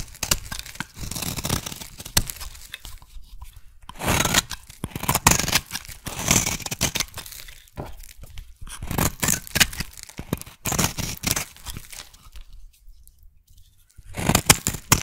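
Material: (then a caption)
Soap. A solid teal soap bar is shaved with a blade, then scraped with a thin metal tool. Dense, crisp bursts of cutting and scraping sound bright and papery, like tearing, coming in uneven clusters. A near-silent pause falls just before a final flurry of scrapes at the end.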